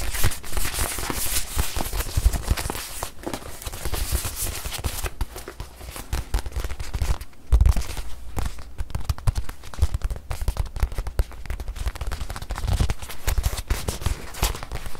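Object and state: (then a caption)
Faux leather watch pillow. A small white padded faux-leather watch pillow is held close and tapped with long white nails across its surface and edges. The result is a dense run of quick, crackly taps with soft low thumps underneath, loudest around the middle of the clip.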